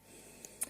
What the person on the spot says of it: Alors, toujours bien secouer les petits pots. Vous entendez, ça fait quelques clics. C'est que c'est bien secoué.